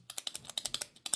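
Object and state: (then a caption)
Microscope eyepiece with loose lenses rattling. A partly unscrewed microscope eyepiece is shaken, and its loose lenses rattle inside the metal barrel because they come detached when the eyepiece is unscrewed. The result is a quick, uneven series of bright, dry clicks with almost no low end and very short ring.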